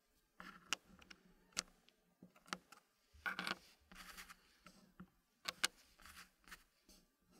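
Fingertips place small solid wooden puzzle pieces into a green-painted wooden frame. Light, bright ticking taps of wood on wood come in scattered, short bursts, with soft rubbing and sliding between them at a quiet level.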